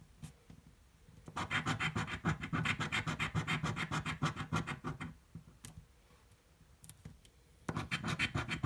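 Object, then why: Paper scratch-off ticket scratched with a coin. A coin scratches the coating off a thin blue paper scratch-off lottery ticket lying on a table. Rapid, rhythmic rasping strokes come in two bursts separated by a quieter pause with a few faint scrapes, each stroke a dry, bright scratch over a low rubbing body.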